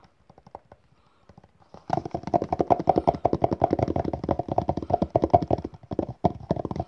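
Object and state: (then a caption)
Cardboard box. A small, hollow, red rigid cardboard gift box with a printed crest is held in the hand while fingertips and nails tap and scratch its face and edges. A few soft, scattered taps give way to a fast, dense run of dry, hollow tapping with a light boxy ring around 700 Hz, each hit dying away almost instantly.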